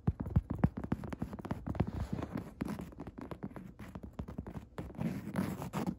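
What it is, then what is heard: Woven fabric chair seat. Long red nail tips scratch and tap on a padded woven upholstery chair seat. The result is a dense, irregular run of soft, muffled taps and scuffing scratches, mostly low and dull with almost no bright edge. The later taps and scratches come in slightly busier, fuzzier bursts toward the end.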